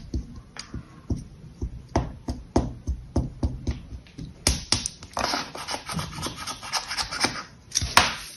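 A metal spatula or scraper blade, held in both hands with long yellow nails, is pressed and dragged across a flat, solid, palm-sized patty of orange kinetic sand resting on a pink sheet. About seventeen short, crunchy scraping and cutting strokes are heard, separate and low at first. They turn into denser, brighter, more continuous scraping in the second half.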